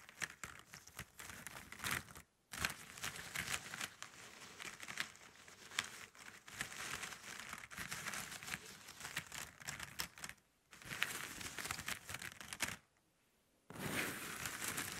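Long nails scratch and rub across a pile of hollow plastic drinking straws, which are then pushed together by the hands. Dense, bright crinkling and clicking scratches run throughout, broken by a few short silent pauses.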